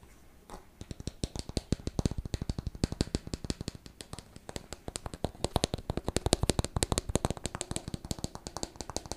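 A small clear plastic bottle with a purple cap, partly filled with liquid, is tapped with fingertips and nails and turned over. The result is a quiet, rapid, uneven stream of short dry taps and clicks, each with a soft low thud and a bright tick, continuing steadily throughout.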